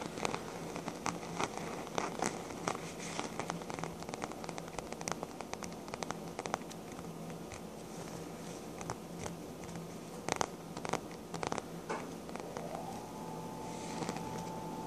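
Long black-painted nails scratch and tap the embossed surface of a soft, hollow, cream embossed faux leather handbag with a strap at its side. Dense, crackly scratching mixes with sharper, bright taps over a steady low hum. Near the end, a faint tone rises and holds.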